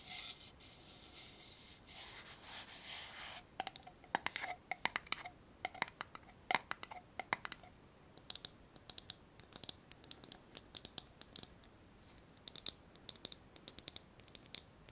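Long nails scratch and tap a small glass jar with a metal screw lid and some small items inside, working over both the glass and the lid. The first few seconds are a steady, bright scratching hiss, followed by a run of quick, sharp, high-pitched clicks and taps that die away almost instantly.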